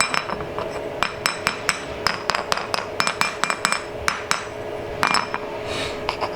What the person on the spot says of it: It sounds like metal, but it's not.